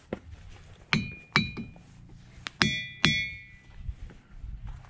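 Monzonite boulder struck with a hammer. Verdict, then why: Ringing. A hammer strikes an igneous monzonite boulder repeatedly, and each blow gives a sharp ding or clang with a clear, bright metallic ring near 3.4 kHz. The tone fades over a fraction of a second. The boulder, which looks hinged out, rings very strongly.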